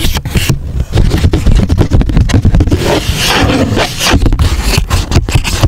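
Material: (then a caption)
Cardboard. Fingertips rub and scratch a thin, flattened, unfolded grey chipboard box lying on foam, working along its creases. Dense, dry scraping and scratching come in quick, closely packed bursts, with a heavy low-end rumble and little brightness. The bursts run continuously with no clear gaps.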